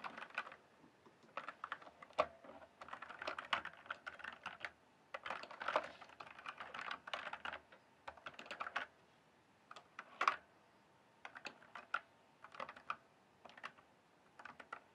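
Fingertips type on a full-size RGB-backlit mechanical gaming keyboard with plastic keycaps. Bursts of rapid, bright, clacky keystrokes centered around 1 kHz come in uneven runs separated by short pauses. Each key strike is dry and short, with almost no low end.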